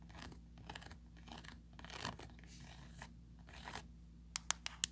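Long pointed nails scratch along the ribbed rim and inner ridges of an empty, small oval plastic mesh tray with a raised ridged rim. Soft, bright, rasping scratches come in short bursts over a steady low hum. The clip ends with four sharp, clicky taps.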